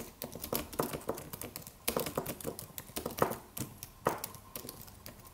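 Fingertips of both hands type on a slim, low-profile silver aluminum computer keyboard with white plastic keys and a solid body. The result is a steady stream of quick, crisp plastic key clicks with short decays and occasional louder, brighter taps.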